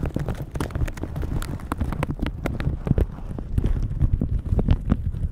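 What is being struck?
Plastic shower cap rubbed with silicone bristles.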